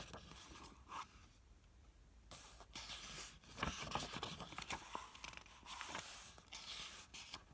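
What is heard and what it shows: Fingertips rub across the illustrated paper pages of an open 1974 hardcover book on Victorian parlor games, then turn the page. Quiet, dry papery scraping and brushing come in uneven bursts, with brighter swishing rustles as the page is handled and turned.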